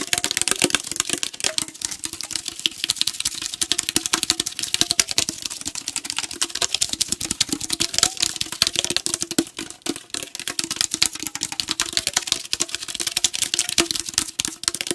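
A tall aluminum tea can held horizontally is tapped fast with fingernails along its body and bottom. Dense, rapid, bright clicks with very short decay overlay a faint steady ringing tone in the lower mids.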